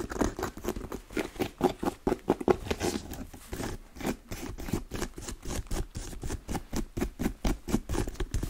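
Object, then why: Leather lace-up boot. Long nails tap and scratch the upper of a hollow black pebble-grain leather lace-up boot with eyelets and a side zip. The result is a rapid, steady run of short, dull clicks with a soft scratchy texture, centered low around 390 Hz and with little high end.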